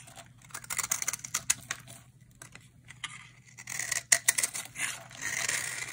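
A utility knife blade scrapes and cuts crumbly flakes from a solid, hand-sized dry orange bar soap held in the hand. A rapid series of dry, bright, crackly scrapes and crisp cuts comes in short bursts, with longer rasping strokes toward the end over a faint low hum.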